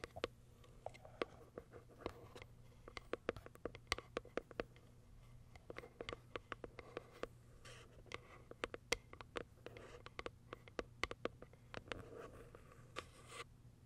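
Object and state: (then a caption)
Cardboard box with plastic window tapped and scratched with nails. Long acrylic nails tap and scratch the plastic window on top of a small white Kiara Sky cardboard box. Quick, dry clicks and short, crisp scratching strokes come in an uneven stream over a faint steady low hum. The clip stays quiet throughout, and each tap dies away almost instantly.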